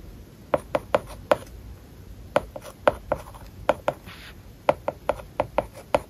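A plastic stylus writes words on an iPad lying flat, its glass screen covered with a matte plastic paper-like film. Sixteen short, dry taps click against the surface in irregular groups, each with a mid-pitched knock and almost no ring, with soft scratching strokes between them.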